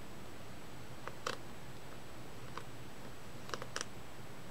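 Long acrylic-style nails tap on the glossy paper front cover of a solid Negima! volume 5 paperback manga held upright in both hands. Sparse, sharp, bright clicks come singly and in quick pairs over a quiet low background hum. Each tap is brief and crisp.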